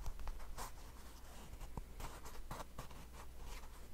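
A small white and yellow plastic hand cream tube, apparently full, is held in both hands and scratched and tapped along its surface with fingernails. Quiet, dry, crackly scratches and soft, short taps come in quick bursts with bright edges over a steady low hum.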